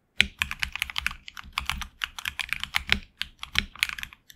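A HyperX Alloy Origins Core mechanical keyboard with HX Red switches and backlit black and red PBT keycaps is typed on with the fingertips. It gives a steady, uneven run of quick keystrokes. Each one is a crisp, bright clack centred around 2.3 kHz that dies almost instantly, with very little low-end thud.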